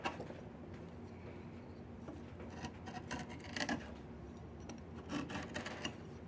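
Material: Wood.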